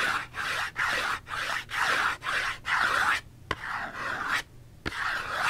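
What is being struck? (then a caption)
Small cardboard box. A small printed-cardboard Dove soap box, hollow and holding the soap, is held in one hand and scratched with fingernails along its edges and sides. A steady series of dry, raspy scratching strokes is heard, with brief gaps and a couple of sharp ticks near the end.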